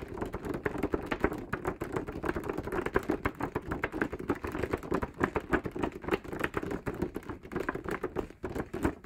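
Fingertips of both hands rapidly tap on the surface of a large printed paper group poster. The result is a steady, uneven patter of soft, dull, papery taps, roughly three per second, each stopping short with no ring and centered in the low-mid range.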